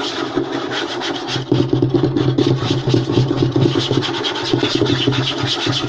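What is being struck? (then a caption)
Wooden tabletop. Both hands rapidly scratch and tap a large, flat, light-colored solid wooden tabletop made of butcher-block style strips, using fingertips and short nails. The result is a dense, continuous flurry of quick taps and scraping over a steady low hum, with a woody knock around 340 Hz and a bright scratchy texture on top.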